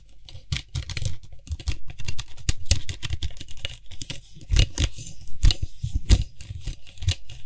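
Fingertips and nails grip, twist and tap fast on the white hollow plastic cap of a Lysol aerosol spray can. A dense, uneven run of quick hollow taps and scratchy clicks follows, with a thumpy low body and brief bright edges that die away almost at once.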